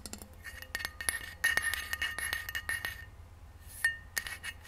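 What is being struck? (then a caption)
Stainless steel insulated bottle. A hollow rose-gold stainless steel insulated water bottle is held tilted while long nails scratch near the paper price sticker on its base, then it is stood upright and tapped with the nails. Quick, bright metallic clicks and scrapes ring briefly with a steady tone near 2 kHz, over a faint low hum.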